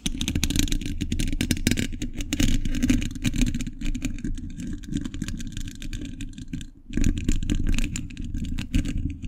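Fingertips wearing metal thimbles tap and scratch the hollow, dome-shaped steel mesh grille of a large condenser microphone. The result is a dense, rapid run of clicky taps and scraping rattles with a heavy, boomy low end. The sound briefly drops away just before the 7-second mark, then resumes.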